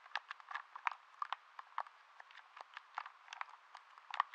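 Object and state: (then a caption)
Plastic game controller buttons. A hollow, handheld blue plastic game controller is held in both hands close to the microphone while fingertips and thumbs tap and click its buttons. About 19 quiet, sharp, dry clicks and taps come in an irregular rhythm, centered in the midrange with a little brightness, no low end and no ring after each one.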